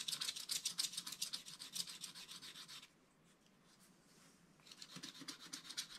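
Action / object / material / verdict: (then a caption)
scrape / black-coated scratch art paper card / coated paper / none. Fingertips rub the remaining black coating off the background of a flat black-coated scratch art card scattered with loose crumbs. Rapid, bright, papery rubbing strokes repeat for about three seconds, fall to near silence for a moment, then resume toward the end.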